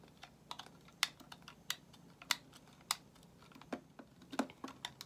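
A solid white bar of soap held in the hand is shaved with a metal utility knife blade. It makes a series of short, crisp, bright scraping clicks that cut off almost instantly, with quiet pauses between strokes.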